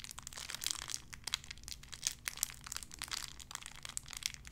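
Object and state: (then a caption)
Plastic wrapper. A small clear plastic bag wrapped around a tiny white figurine is crinkled and squeezed between fingertips with long red nails. The result is a steady, quiet stream of bright, crisp crinkles with sharp little crackles scattered throughout, over a faint low hum.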